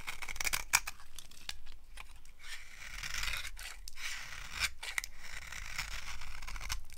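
A yellow-handled blade scrapes crunchy flakes off a solid, dry, brown translucent soap bar held in the palm. The result is a steady run of dry, crisp scraping and crackling with bright, hissy texture and short crunchy snaps over a faint low rumble.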